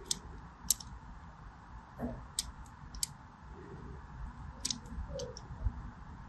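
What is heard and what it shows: A small black blade scores crosshatch lines into a solid purple and white striped bar of soap held in the hand. Nine short, sharp, bright scratching clicks stand out over a quiet low rumble, each dying away almost at once.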